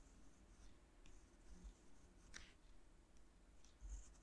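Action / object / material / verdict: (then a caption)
scrape / graphite pencil on watercolor paper sheet / paper / none. A graphite pencil held in the fingertips scratches lettering across a dry, painted sheet of watercolor paper taped to a cork board. Quiet, soft scratchy strokes sit over a low background rumble, with a few brief bright scrapes and one sharper, louder scratch midway through.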